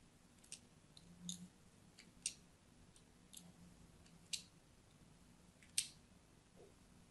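A thin blade scores diagonal lines into a solid orange-and-white striped soap bar held upright in the hand. Quiet, bright scratching and cutting sounds come in short, irregular strokes, with the sharpest cuts standing out above a low, hushed background.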